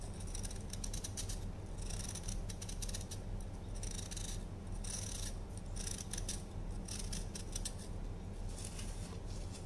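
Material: Baking soda.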